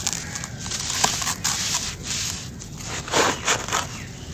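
Bare hands scoop, squeeze and crumble handfuls of grey, grainy dry sand-cement mix in a pink plastic basin, letting the grains fall before scraping them into the loose pile. The result is a steady, bright gritty crackling and crunching with soft rustling, swelling into louder crumbly bursts toward the end.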